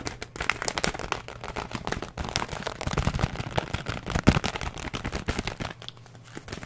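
A filled paper and plastic oat flakes bag is held up and crinkled, squeezed and scratched with the fingertips. The result is a dense run of quick crackles and crinkles with low rustling underneath, peaking in a sharper crunch just past the four-second mark before fading to softer scratching.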